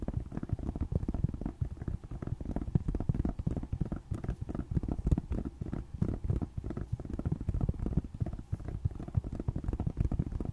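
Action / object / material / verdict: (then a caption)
tap / plastic tablet back / plastic / none. Long nails of both hands tap rapidly on the black plastic back of a tablet resting on a lap. The result is a dense, continuous patter of short, dull, low clicks with almost no ring and very little high-end brightness.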